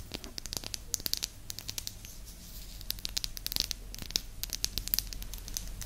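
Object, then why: Small flat wooden disc. Long nails tap and scratch across the surface of a small, flat, round, solid light-wood disc held close to the microphone. The result is a rapid, irregular stream of crisp, bright clicks and short scratchy strokes over a quiet, steady low hum.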